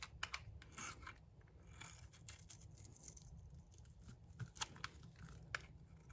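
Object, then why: Bar of soap. A cream-white solid bar of dry soap, held in the hand, is scraped with a metal blade that shaves it into curls. Quiet, dry, scratchy scraping strokes crackle and tear softly, with bright crisp edges over a low steady rumble. A few sharper scrapes stand out near the end.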